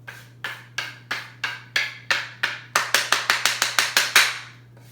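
Two old pieces of wood, left over from building a greenhouse bench, are knocked together to make found sounds for a music lesson. Sixteen bright, dry wooden clacks are heard, spaced evenly at first and then coming faster toward the end. Each knock dies away quickly.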